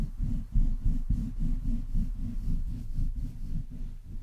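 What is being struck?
Metal mesh microphone grille.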